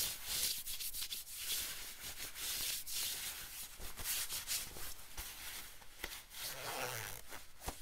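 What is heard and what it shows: Fingertips scratch and rub the sleeve and collar of a thin, yellow camo-print nylon windbreaker being worn on the body. The result is a steady, bright, hissy rustle of fabric with a few sharper scratchy ticks, at a fairly quiet level throughout.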